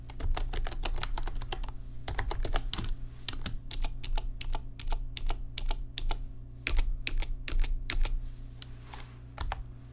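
Fingertips type on an RGB backlit computer keyboard with plastic keys, making quick, bright, sharp clicks in irregular bursts with brief pauses between runs. A steady low hum sits underneath the tapping throughout.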